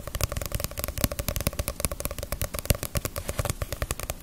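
A small, solid Naruto paperback manga volume with a glossy paper cover is held in the hands and tapped on its cover and spine with fingernails. About 32 quick, dry taps follow one another in a steady, uneven patter. Each has a soft low thump and a bright click that dies away almost instantly.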